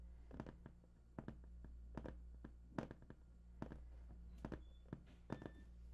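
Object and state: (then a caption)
Cardboard game console box. Fingertips of both hands tap on the top of a large, hollow, printed cardboard PS4 box. The result is quiet, dull, hollow thunks in uneven clusters, each dying away almost at once over a steady low hum.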